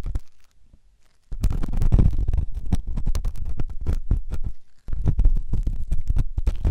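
A metal ear pick scrapes inside the ear canal of a white, solid silicone ear on a binaural microphone. After a near-silent moment, dense, irregular scratching and rubbing follows, heavy in deep low rumble with sharp, short clicks. The scraping breaks off briefly once before resuming.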